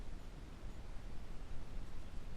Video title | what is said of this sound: Learning about this H22! Fixed PCV Valve and alternator | if I shake this one the old valve that just pulled off of here nothing so whatever mechanism in there is uh it's obviously seized